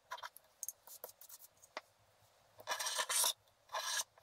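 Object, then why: Black-coated scratch art paper card. A wooden stylus scrapes out cloud areas in the black coating of a flat scratch art paper card. Short, quiet, bright scratches come first, followed by two longer, louder bursts of dry, raspy, high-pitched scraping. There is no low end, and each stroke stops dead.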